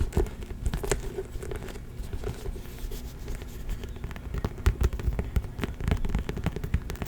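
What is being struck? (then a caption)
Faux leather handbag. A small pink faux leather handbag with a magnetic closure is tapped and scratched. Many quick, soft, dull taps mix with scratchy crackling over a low thudding body. The sound is dry and close with almost no ring, chosen for its general leather tapping sound.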